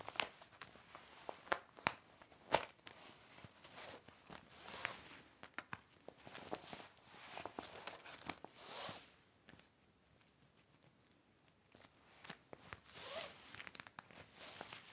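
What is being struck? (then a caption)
Clear vinyl toiletry bag. An empty, large, flat, clear heavy vinyl/PVC hanging toiletry organizer with zippers is held flat by one hand while the other rubs and wipes the plastic with a microfiber cloth. The result is soft swishing wipes broken by sharp, bright crinkles and snaps of the stiff plastic, with a near-silent pause midway before the rubbing resumes.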